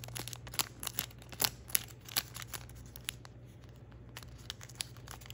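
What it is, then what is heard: Origami paper crane being creased. An almost finished thin origami paper crane is held in the fingers while its points are bent and creased by the fingertips. This produces a run of sharp, bright paper crinkles and crackles over a faint steady low hum, growing sparser and quieter toward the end.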